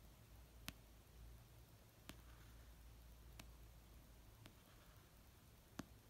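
Slow fingertip and nail taps on an orange paperback novel with solid paper, resting on a blanket. Five short, dry clicks, spaced over a second apart, reach from low into bright frequencies and die away almost instantly. Between them is a steady, quiet low hum.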